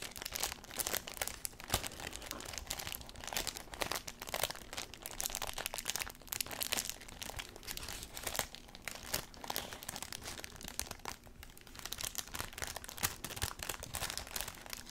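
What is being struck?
Thin tissue paper sheet.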